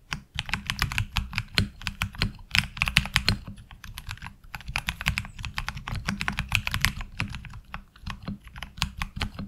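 Fingertip typing with both hands on a HyperX Alloy Origins Core tenkeyless mechanical keyboard with ABS keycaps gives a steady, fast run of sharp, bright key clacks over a low thock from the key bottoming out. The rapid strokes blur together, and each one dies out almost instantly.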